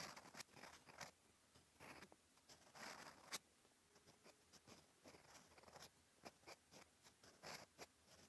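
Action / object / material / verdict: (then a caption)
scrape / steel fountain pen nib on a paper notebook page / paper / none. A steel EF fountain pen nib scratches ink strokes across a flat cream lined paper notebook page. Quiet, bright, dry scratching comes in short bursts separated by brief pauses, with a few sharper ticks and almost no low end.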